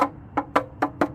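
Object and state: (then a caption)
Plastic wheel cover knocked, no verdict. Five short, dry knocks on a 19-inch Gemini Kavanic plastic wheel cover fitted over the alloy wheel on another wheel of a 2022 Long Range Tesla Model Y, struck for comparison with the first wheel. Each knock is a hollow, mid-pitched tap that dies away almost instantly, with no lingering ring.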